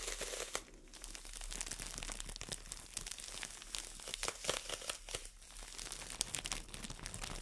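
A solid green floral foam brick in a clear plastic wrapper is held in both hands and scratched and tapped with long nails. Quiet, bright crinkling and scratchy rustling runs throughout, broken by many short, sharp tapping clicks with no ring after them.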